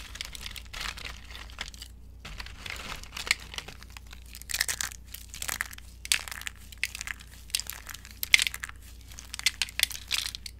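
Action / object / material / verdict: scrape / soap shavings crushed by hand / soap / none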